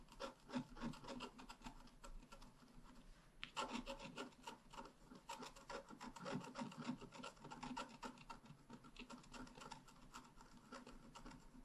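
A wooden stylus tip scratches across a flat, black wax-coated scratch-art card about A5 size, a solid thin card lying on a table. Quick, irregular dry rasping strokes repeat rapidly at a low level, each short and without ring, with a brighter, busier run of scratches beginning partway through.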